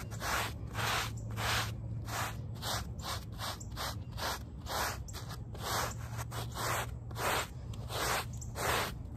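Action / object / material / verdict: scrape / wet woven fabric rug backing scrubbed with a plastic bristle brush / woven fabric / none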